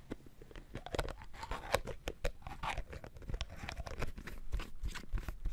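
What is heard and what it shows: Fingertips tap rapidly on the red plastic screw lid of a full-looking sauce bottle of dark liquid, held in one hand. A dense, irregular run of short, dry plastic clicks and ticks is heard, each dying away almost instantly.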